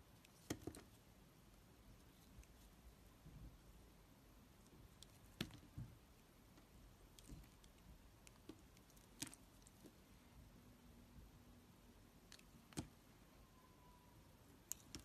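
A utility knife blade carves and scrapes chips off a solid, hand-held black soap bar. Quiet, soft scraping patter is broken by scattered sharp, bright clicks over a low, steady background hum. Faint brief tones appear toward the end.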